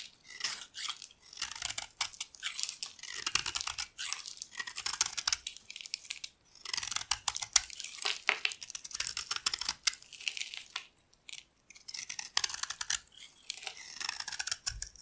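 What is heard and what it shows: A metal utility blade scrapes a solid white bar of dry soap held in the palm, peeling off powdery shavings. Dense, bright, crisp scraping and crackling comes in rapid strokes grouped into bursts, separated by brief pauses.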